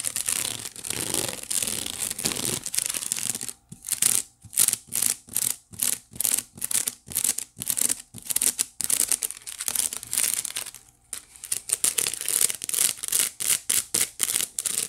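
Long nails on both hands scratch and tap across the woven bottom of a white wicker basket. At first there is a continuous bright, dry rasping; after about three and a half seconds it breaks into a quick run of short, separate scratching strokes.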